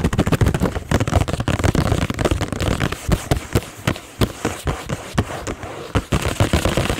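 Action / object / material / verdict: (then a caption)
tap / thin cardboard chewing gum box / cardboard / none. Long acrylic nails tap and scratch quickly on the top of a green Extra gum multipack box made of thin cardboard, about 25 cm long, with gum packs visible at its open front. The clip is a dense, rapid run of short, dull, low-heavy taps and crackly scratches that stop almost at once. Toward the end the box is tilted and handled.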